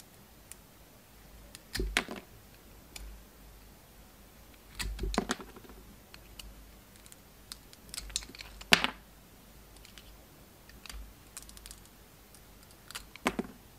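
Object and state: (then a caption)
Soap bar being shaved. A utility knife blade shaves the red and gold striped coating off a solid round soap bar with a white core, held in the hand. Short, crisp, bright scraping bursts come in irregular clusters with quiet pauses between them, each cut ending almost instantly.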